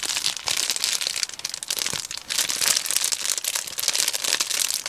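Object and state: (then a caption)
Plastic bubble mailer. A medium Amazon Prime poly bubble mailer, hollow and apparently holding a DVD, is held in both hands and crinkled and squeezed with the fingertips. The result is dense, bright plastic crinkling with sharp crackles that rise and fall in quick bursts, almost entirely high in pitch with no low end.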